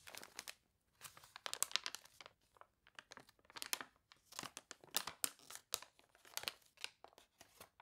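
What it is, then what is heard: Water-warped glossy paper catalog. Long nails and fingertips scratch and rub the wavy, glossy pages of a water-warped paper toy catalog and turn a page. Quiet, bright crinkling and crunchy scratching come in quick bursts separated by short silences, with almost no low end and no ring after each burst.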